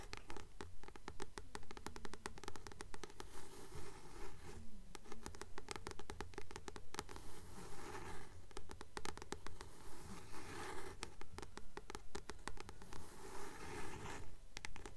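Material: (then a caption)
Paper. Long nails scratch and tap the glossy paper cover of a blue *Practical Magic* paperback, a solid paper book held in both hands. The sound is a steady, rhythmic run of dry scratches and soft taps at roughly two per second, with a low hum underneath and short strokes that die away quickly.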